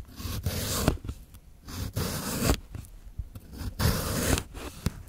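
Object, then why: Cucumber cut with a steel knife on a plastic board. The end of a solid, moist green cucumber is sliced into thin rounds with a steel kitchen knife on a white plastic cutting board. Each cut is heard as a wet, scraping crunch that ends in a sharp tap as the blade cuts through and meets the board. The slices come in an uneven rhythm.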